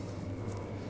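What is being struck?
Nothing is struck.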